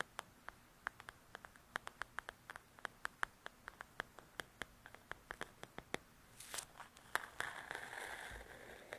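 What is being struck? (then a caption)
Paperback paper coloring book cover. Long nails tap the cover of a paperback paper coloring book in a quick run of sharp, dry clicks with a bright, papery edge. Near the end, the nails scratch across the cover, giving a louder, hissy rustle mixed with a few last taps.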